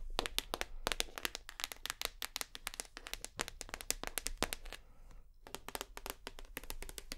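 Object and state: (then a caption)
Plastic shower gel bottle. Long nails tap rapidly on a full white plastic shower gel bottle, striking its base and the front near the black cap. The result is a dense run of sharp, bright clicks with very short ring and a faint low hum underneath. There is a brief pause just after the five-second mark before the tapping resumes.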